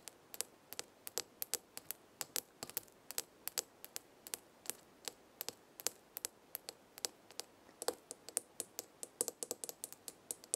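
Long red nails tap rapidly on the glass side of a small glass jar with a gold metal lid, full of dried herbs. Around fifty quick, quiet, bright clicks follow one another in an irregular, steady rhythm, each dying out almost instantly with no ring.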